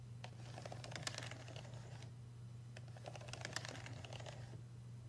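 A fingertip traces and taps over the buttons of a payphone's solid brushed metal keypad and the surrounding metal faceplate. It makes quick, dry, bright clicks and light scrapes in two clusters separated by a brief pause. A steady low hum runs underneath throughout.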